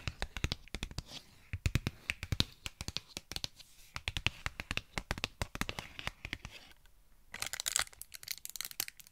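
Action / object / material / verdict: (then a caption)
tap / cardboard and plastic blister pack / plastic / none. Long nails tap and scratch a Pritt Patafix package, a cardboard and plastic blister pack with the white putty visible inside. A rapid run of crisp, dry clicks comes with bright, crinkly plastic scratching. After a brief lull near the end, a final burst of high scratching follows.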